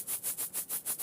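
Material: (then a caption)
Charcoal. A deodorizing charcoal filter from a Bespoke Cube Air purifier, densely packed with small charcoal granules in a honeycomb-like arrangement, is shaken back and forth. It makes five quick, bright, hissy rattling swishes as the granules shift inside, which is the normal sound of the filled filter.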